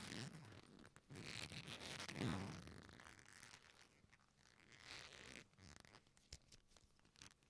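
A solid leather belt strap, its buckle at one end, is gripped and flexed between the hands, pulled taut and folded. It produces dense creaking and rubbing, with low groaning creaks that swell to their loudest about two seconds in, then bright scuffing swells. The sound ends in quieter, scattered crackles and soft clicks.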